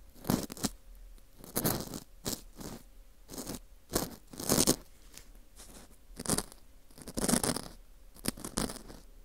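A metal dental scaler hook scrapes inside the center hole of a dry, porous slice of dried wheat gluten fu shaped like a ring. It makes short, dry, crunchy scraping bursts with bright rasping texture, separated by brief quiet gaps.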